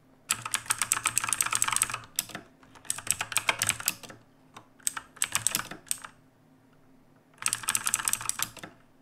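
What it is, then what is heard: Mechanical keyboard with plastic keycaps. Both hands type with their fingertips on the plastic keycaps of a black backlit mechanical keyboard resting on a wooden desk. Four bursts of rapid, bright clicking keystrokes are separated by short pauses, with sharp, quickly fading clacks carrying most of their energy in the high range.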